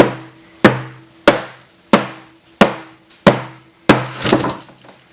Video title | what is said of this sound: Home Gym Concrete Barbell Weights | you hear the different sound when you're banging on the back of the form, because it's starting to hollow out